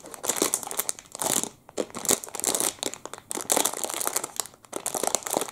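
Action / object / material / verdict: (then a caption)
scrape / thin plastic food wrapper / plastic / none. A hand-sized, full clear crinkly plastic wrapper around a Double Chocolate muffin is crinkled and rubbed between the fingertips of both hands. Dense, bright crackling bursts come in several waves with brief quiet gaps, with almost no low end.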